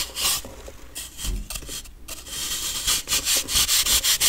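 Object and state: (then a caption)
Compressed baking soda block being shaved. A metal knife blade rasps across a solid, compressed block of baking soda held in the hand, shaving it in rapid strokes. The scraping is a dry, bright, gritty hiss with little low end, coming in quick uneven bursts that grow louder and more rhythmic toward the end.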